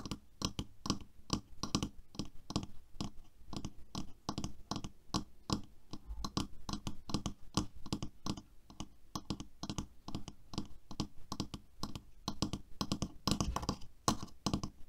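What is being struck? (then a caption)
Plastic hairbrush. Long nails tap and scratch quickly on the body and bristles of a black plastic hairbrush with a silver ring on the handle. The result is a steady run of short, dry clicks and scratchy crunches that die out almost instantly, with most of the energy in a low thump around 200 Hz.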